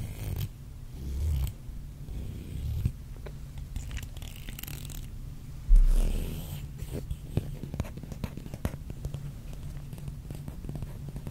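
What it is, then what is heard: Plastic comb. A small, solid black plastic hair comb is held in both hands in front of a microphone while a fingernail or fingertip is run along its teeth. This produces a zipper-like ratcheting scratch of quick, closely spaced clicks over a low, muffled rumble, with a louder swell partway through.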